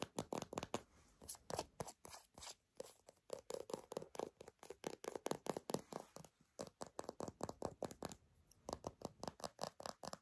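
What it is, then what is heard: Plastic squeeze tube. Long nails and fingertips tap and scratch a small, hollow, partly full mint-green soft plastic squeeze tube with a dark cap as it is handled. The result is a rapid, steady run of dozens of short, dry clicks and scrapes with a hollow midrange tone, each dying away almost instantly, with brief pauses between bursts.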